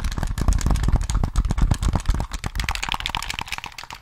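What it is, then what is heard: Plastic game controller. Fingertips rapidly tap the shell of a handheld, hollow plastic Sony PS3 gamepad held in both hands close to the mic, and click its buttons and triggers. The result is a quick, irregular stream of dull, bass-heavy knocks mixed with short, dry plastic clicks. Toward the end the clicks turn brighter and lighter.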